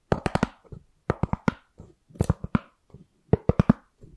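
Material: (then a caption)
Styrofoam. A white round styrofoam plate is moved around the microphone while long nails and fingertips tap and scratch it. The result is about fifteen short, dry, muffled clicks, mostly in quick clusters of three or four with softer scratches between them.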